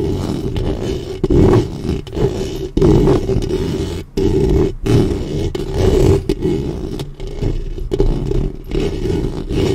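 Long nails scrape back and forth across the metal mesh grille of a black studio microphone. The result is a loud, rough, rumbling scratch concentrated in the low and low-mid range, almost like a growl, broken by brief silent gaps between strokes.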